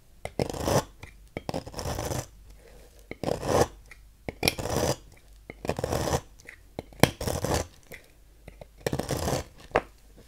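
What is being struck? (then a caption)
Bar soap carved with a thin metal knife. A thin metal knife carves long, thin shavings from a small, solid, peach-colored translucent bar soap held between fingers, letting them fall into a pile. The soap gives repeated dry, raspy scraping strokes with bright edges, and each stroke ends in a short pause. The bursts are spaced irregularly, and each carries a soft crackle.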